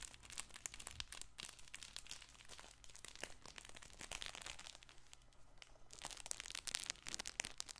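A stuffed fabric plush baby ball toy with star patches and ribbon is held in both hands, squeezed and scratched with fingertips. It gives a steady stream of bright crinkling and crunching rustles with many quick, dense scratches over a low hum. The sound stays quiet and close throughout.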